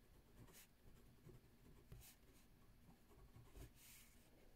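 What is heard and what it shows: A ballpoint pen writes on a page of a spiral lined paper notebook resting on a wooden table, the page already filled with handwriting. Quiet, continuous scratching and rubbing is heard, with a low thudding undertone and occasional brief bright bursts of hiss as the pen strokes across the paper.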